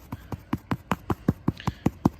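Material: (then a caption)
Artificial turf. Eleven steady, dull taps on a laid synthetic putting green, searching for a golf hole cup buried under the artificial turf. Each tap is short and low, and the taps grow louder and more hollow-sounding toward the end, marking the spot over the hidden cup.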